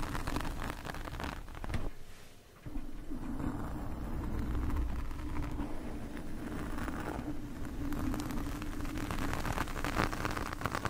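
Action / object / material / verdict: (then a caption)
scrape / foam microphone windscreen scraped with metal forks / foam / none. Two metal forks, held one in each hand, scratch across the surface of a black foam microphone windscreen. The result is a close, muffled, low-heavy scraping and rustling that runs almost continuously, with a short quieter dip about two seconds in before the scratching resumes.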